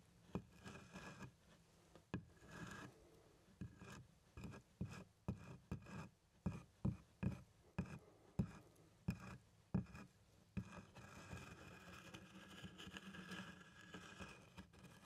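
Small plastic toy hands rub and scratch the textured front of a large, hollow black pebbled-leather doctor's bag. Soft, low, muffled rubbing opens the clip. It turns into a run of sharper scratching strokes in the middle, then settles back into a continuous quiet rasping rub.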